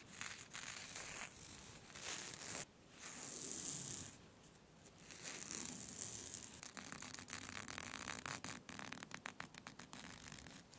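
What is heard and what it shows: A thin, smooth black scarf with a white skull print is gathered up while long red nails scrunch, scratch and rub the fabric. The result is a bright, crinkly rustle and scraping that swells and fades in waves, ending in rapid short scratches.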